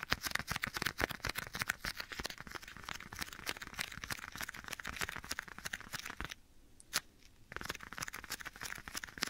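Bare fingertips tap and scratch the surface of a black leather glove worn on one hand and held beside the right ear of a binaural microphone. Dense, rapid, bright crackling taps and scratches fill the clip, broken by a brief quieter stretch with a single sharp tap near the seventh second before the scratching resumes.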